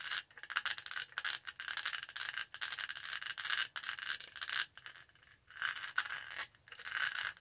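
Long nails scratch and scrape the textured lid around the straw of a purple studded hollow plastic tumbler. The result is dense bursts of bright, hissy scraping and fine rattling clicks, separated by brief pauses, with almost no low end.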